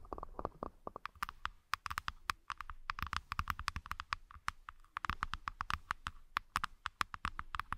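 Long fingernails on both hands tap and scratch the inside bottoms of two halves of a light-wood hexagonal accessory box, set side by side as open, empty trays. The result is a rapid, uneven stream of dry, hollow wooden clicks that stop instantly with no ring, mixed with soft scratchy rustling between the taps.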